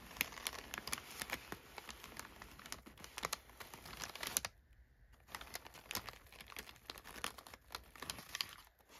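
Fingers and nails press, rub and scratch crumpled brown kraft packing paper lying in an open box. The result is dense, bright crinkling and crackling with sharp, quick-fading bursts and a short quiet pause about midway before the rustling resumes.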